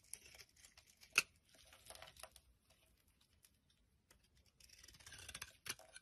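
A utility knife blade scrapes and shaves the surface of a solid amber translucent glycerin soap bar held in the palm. Quiet, bright, crisp scratching strokes come in short bursts with brief gaps, including one sharper louder scrape early on. A denser run of shaving near the end is followed by a final sharp stroke.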